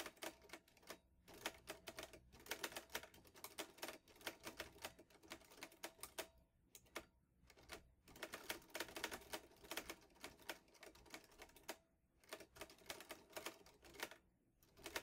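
Fingertips type quickly on the keys of a vintage teal metal Underwood Olivetti Lettera 22 portable typewriter with paper loaded. Dense bursts of sharp, bright clacks die away almost instantly, broken by brief pauses around the 7- and 12-second marks. The clatter is crisp and high with a light midrange ring and almost no low end.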